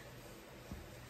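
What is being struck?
Nothing is struck.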